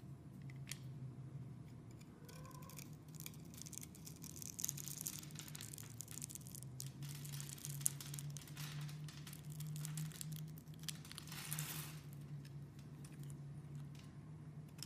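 A metal blade scrapes small cubes off a solid pink rectangular soap bar that has been scored into a grid. Soft, bright, crisp scraping and crumbling run continuously over a steady low hum, with a few slightly sharper crunches along the way. The whole clip stays quiet.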